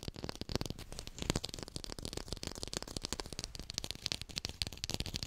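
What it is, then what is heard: Artificial textured lime (plastic fake fruit). A textured artificial plastic lime is tapped rapidly and recorded with a hi-fi microphone. The sound is a dense stream of short, dry, clicky taps with a bright crackly edge and a light low thump. Each tap dies out almost instantly, with a few louder hits standing out from the steady patter.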